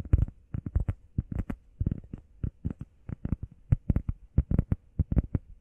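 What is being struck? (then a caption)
EVA foam pad. Long painted nails and fingertips tap and scratch fast on a flat, grey, textured EVA foam workout pad shaped like a heart, solid and about hand-sized. The result is a rapid, irregular run of soft, dull thuds with a low body and almost no brightness. Each tap dies away almost instantly.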